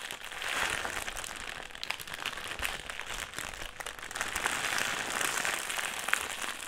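A black, foil-lined metallised plastic crisp packet is crumpled and squeezed in both hands. It makes a steady, bright crinkling and crackling that swells and eases throughout, with little low-end body.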